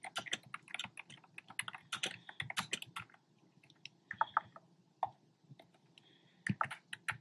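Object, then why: Plastic keyboard with round plastic keycaps. Fingertips with short nails tap on a black plastic keyboard with hollow, round retro-style plastic keycaps in cream, pink and red. Quick, bright, hollow clacks come in fast bursts, separated by short pauses, over a faint low hum. Each tap stops almost instantly.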